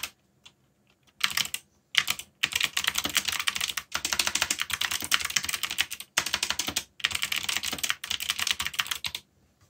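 Fingertips type very rapidly on the plastic keycaps of a black backlit mechanical keyboard, producing dense bursts of bright, sharp clicks and clacks. The typing comes in several runs separated by brief pauses, with each keystroke short and crisp and almost no low end.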